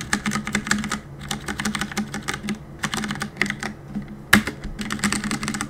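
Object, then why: Mechanical keyboard with plastic keycaps. Fingertips rapidly tap the plastic keycaps of a black mechanical keyboard, producing bursts of bright, crisp clicks and clacks with short pauses between flurries. One sharp, louder clack stands out near the end, over a faint steady low hum.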